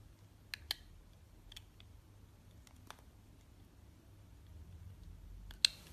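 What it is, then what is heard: Glycerin soap bar being shaved. A box-cutter blade scrapes and shaves thin slices off the top edge of a rectangular, solid bar of clear blue swirled glycerin soap held in the hand. A few sharp, bright clicks and snaps stand out, spaced irregularly, each dying away almost instantly over a quiet low background rumble.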